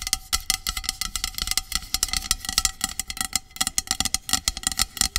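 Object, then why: Aluminum aerosol spray can. Long acrylic nails tap and scratch along the body of a medium, hollow aluminum dry shampoo aerosol can lying on its side. The result is a fast, uneven run of sharp, bright clicks and scrapes with very little low end. A faint hollow metallic ring hums steadily underneath.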